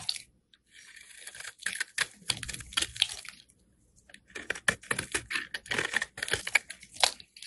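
A solid beige oval soap bar held in hand is shaved into flakes with a metal box cutter blade. The result is a run of bright, crisp scraping and crunching strokes that come in quick bursts, with a brief quiet pause midway before the shaving resumes.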